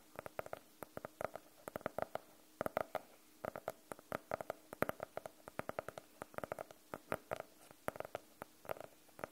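A closed navy faux-leather hardcover notebook is tapped with the nails of both hands, then tilted at the end. Many quick, dry clicks come in uneven bursts and flurries, each with a hollow midrange tone around 600 Hz. The clicks die away almost at once against a quiet background.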